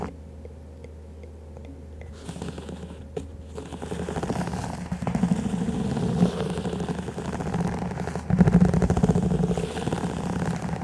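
Fingers and nails tap and scratch the walls of a stack of hollow, empty clear plastic cups set over a furry microphone. A low hum carries quiet faint ticks at first, then dense scratching and clattering taps build into a steady, rumbling rustle.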